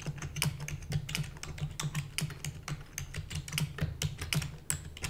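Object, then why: Plastic computer keyboard. Rapid typing with long natural nails and fingertips on a full-size black plastic keyboard with hollow keys. A dense, uneven stream of quick taps mixes bright, sharp clicks with a hollow low thump under each stroke, and each tap dies away almost instantly.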